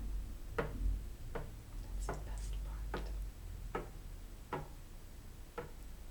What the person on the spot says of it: the sound it makes when you tap away the game pieces As you move from Square to Square